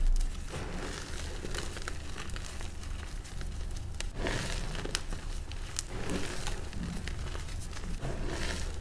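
Bare hands scoop, squeeze and crumble a loose pile of dry, dyed pink gym chalk powder with crumbly clumps. The result is a steady soft crunching and crinkling with sharp crackly bursts, over a low, dull rumble throughout.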